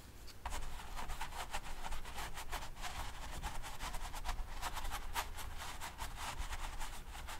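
A small paint brush rubs and dabs across a large stretched canvas, taut fabric over a hollow frame coated in wet dark oil paint. After a brief quiet start, a steady run of soft, quick scratchy strokes begins, with a bright papery hiss over a faint low hum.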